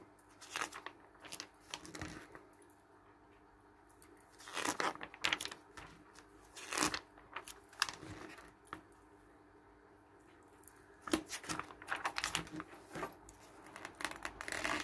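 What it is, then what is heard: Glossy paper magazine. An open glossy paper travel magazine on a wooden table has its pages turned by hand, then the palm and fingers smooth and rub across the spread. Crisp, bright crinkling and rustling bursts come in short clusters separated by quiet pauses, with soft dry swishes as the paper is stroked flat.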